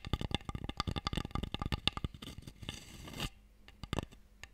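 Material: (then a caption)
Wood. An open, empty wooden Mikado box tray is held in both hands and tapped with a nail and fingertips along its sides and edges. The result is a quick run of hollow, dry clicks with no ring. A short stretch of brighter scratching follows before a few sparse final taps.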